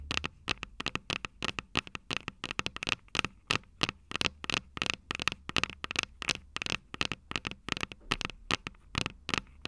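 Long purple nails tap and scratch the metal microphone capsules of an upright Tascam DR-05 recorder, producing about 44 quick, dry clicks over ten seconds. The taps are bright with a ringing tone near 2.7 kHz, die away almost instantly, and come with faint scratchy noise between them.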